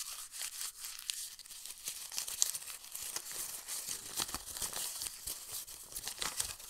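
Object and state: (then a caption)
Old paper book page. A yellowed printed page from an old paper book is held open, then squeezed and crumpled in both hands into a wrinkled ball. Dense, bright crinkling and crackling runs continuously with sharp snaps throughout, and there is almost no low end.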